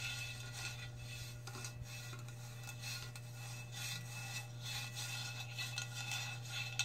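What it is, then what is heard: Metal cup scratched with fingernails. Long red fingernails scratch a metal cup close up, making soft, bright raspy scrapes in irregular strokes with a faint metallic ring near 2.6 kHz. A steady low hum sits underneath throughout.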